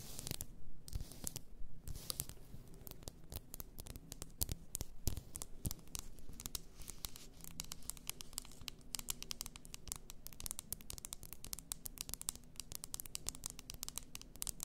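Long nails tap and scratch the sides and shoulders of a large bottle, apparently glass, filled with pink bath salt. The sound is a quiet, dense stream of quick, dry clicks and bright scratching strokes, each dying away almost at once over a soft low rumble.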